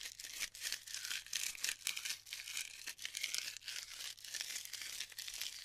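Hands press into the surface of glued styrofoam bead clusters and crush them, giving a steady stream of bright, dry crackles, crinkles and squeaky snaps. The sound is almost entirely high-pitched with no low end, rising and falling in dense bursts for about six seconds.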